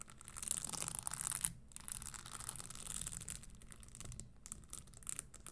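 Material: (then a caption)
Leather. Long nails tap the insole edge and scratch the studded upper of a red spiked leather Christian Louboutin stiletto pump standing upright. The result is a quiet, dense, bright scratching and crackling texture with soft low taps beneath it, broken by a brief pause near the middle.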